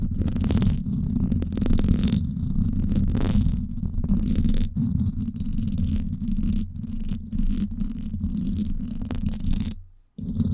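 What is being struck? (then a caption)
Woven wire mesh microphone grille. Long acrylic nails scratch fast across the hollow, silver woven-wire dome grille of a Blue Yeti microphone. The result is a dense, continuous, booming rumble that sits mostly in the low range, with rapid rustling scratches on top. It runs steadily, then briefly drops to near silence just before the end and resumes.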